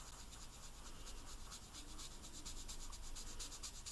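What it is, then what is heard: Marker scratching on hard royal icing. A green food-coloring marker tip rubs and scratches repeatedly across the dry, hard white royal icing on a large, flat, solid sugar cookie printed with Santa, filling in an area. It makes quiet, rapid, uneven scratchy strokes with bright, hissy bursts over a faint low rumble.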